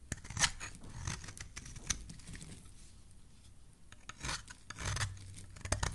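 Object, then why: Soap bar shaved with a metal blade. A solid pink soap bar, held in a hand with lilac nails, is shaved with a metal blade. Crisp, bright scraping strokes sound in uneven bursts, with a quieter stretch in the middle, and each shave cuts off quickly with no ring.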